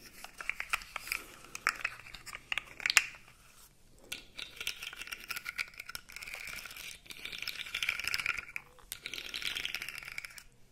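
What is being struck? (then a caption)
Plastic segmented fidget toy. A light-blue plastic articulated fidget slug toy has its segments compressed and bent with the fingers, producing dense rattling clicks. The crisp, bright clicks come in bursts with brief pauses around 4, 7 and 9 seconds, and each dies away almost instantly.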